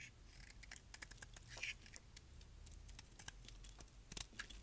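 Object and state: Dry soap bar being shaved.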